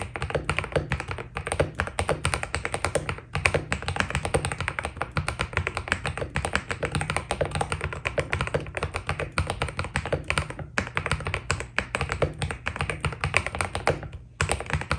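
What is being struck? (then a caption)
Mechanical keyboard with PBT plastic keycaps. A white Keydous NJ80 mechanical keyboard with PBT plastic keycaps, a steel plate and foam inside is typed on continuously with the fingertips of both hands. The result is a rapid, dense stream of short, muted clacks with a low thocky body and very fast decay. There are brief pauses near 3, 11 and 14 seconds.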